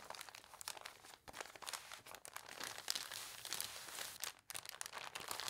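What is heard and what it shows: A thin newsprint newspaper is unfolded and opened flat while hands crinkle its pages and long nails scratch across the paper. The result is a dense, bright run of crackling, rustling and scratchy crunches with almost no low end, broken by two brief near-silent gaps.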